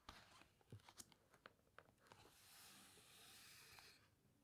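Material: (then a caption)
Glossy paper. Fingertips and long nails press, rub and squeeze the glossy paper pages of a large open hardcover photo book about underwater wrecks, then slowly turn a page. Several quiet, sharp crinkly ticks and squeaks come first, followed by a sustained bright papery rustle as the page sweeps over and settles.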